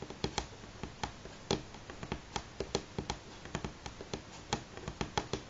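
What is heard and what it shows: Fingernails of both hands tap on a solid light pine tabletop, making 21 short, dry clicks at an uneven pace. Each tap dies away almost instantly, with a woody tone around 395 Hz and a bright edge.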